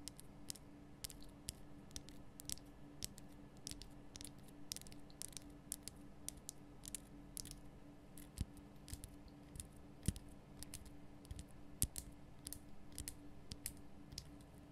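Long nails tap and scratch the solid, rough surface of a large, lit, pink Himalayan rock salt lamp. A steady stream of quick, dry clicks with bright, crisp edges and soft scraping sounds over a quiet, constant low hum. Each tap stops almost instantly.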